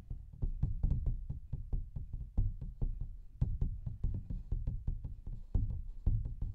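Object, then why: Thin paper coloring book page. Fingertips and nails tap rapidly on a large, thin paper coloring book page with a printed pattern, held upright in both hands in front of the mic. The result is a quick, irregular run of dull, low knocks with almost no ring, each with a faint crisp edge above.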